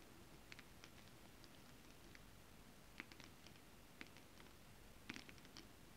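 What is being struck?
Holographic scale-print fabric tapped with long nails.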